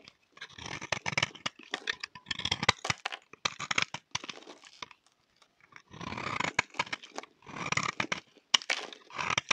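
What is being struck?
Bar of soap scraped with a knife blade.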